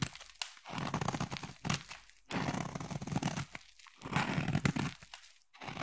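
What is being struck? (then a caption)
Bar of soap cut with a metal blade. A metal utility knife blade scrapes and carves a solid black bar of soap, sending shavings crumbling off. Several raspy, crunchy scraping passes are heard, each a dense burst of fine crackling with a low, gritty body and bright edges. Short quiet gaps fall between the passes.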